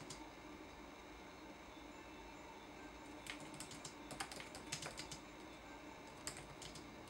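Fingertips tap the plastic keys of a red-backlit laptop keyboard in a typing motion. Over a quiet, steady hiss, sharp, bright clicks come in an uneven cluster during the middle of the clip, followed by a pause and then a few more taps near the end.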